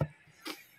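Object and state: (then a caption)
Solar panel cover is plastic, not glass. Two taps on a solar light's panel cover, which was thought to be glass, after heating it to remove it didn't work. A dull, low knock is followed about half a second later by a quieter, brighter tick, both dying away almost at once. The cover proves not to be glass but something like half glass, half plastic.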